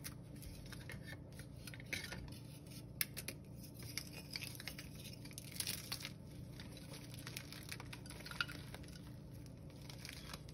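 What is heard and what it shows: Bare hands break thin, dried, brittle slabs of blue gym chalk (magnesium carbonate) and crush and rub the chunks and powder between fingers and palms over a pile on a pink surface. The result is quiet, steady, crisp crackling and crumbling with bright, sharp snaps scattered throughout, over a low, constant hum.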